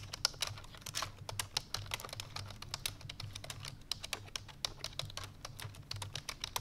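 Fingertips with long painted nails rapidly press the keys of a full-size black plastic computer keyboard resting on a white fur rug. The result is a fast, steady stream of short, bright, clicky taps that stop almost instantly, over a faint low hum.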